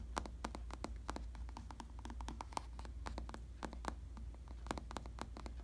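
Fingertips tap and scratch the top of a black vinyl or faux leather padded bicycle saddle, making a rapid, irregular run of short, dry, muffled taps with a midrange knock around 870 Hz. Faint scratchy rustling fills the gaps, all over a steady low hum.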